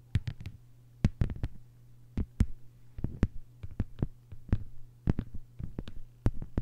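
Long white-polished nails tap and scratch a thin, solid, flat lime-green plastic cutting mat lying on a table. Quick, irregular clusters of sharp, dry clicks with bright edges and almost no ring sound over a steady low hum.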